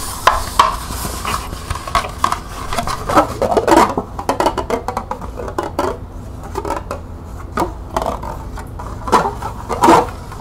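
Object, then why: Small plastic cup. Long nails rapidly tap the side and rim of a small, hollow, empty green plastic cup held in the hands. The result is a stream of quick, light, hollow clicks with a ringing tone around 1 kHz and a low steady background hum.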